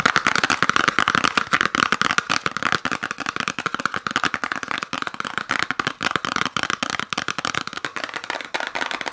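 Long nails rapidly tap and scratch a small gift box wrapped in peppermint-pattern paper with a red ribbon. The result is a dense stream of sharp, crackly paper clicks and rustles centered around 1.4 kHz, with bright edges and almost no low end.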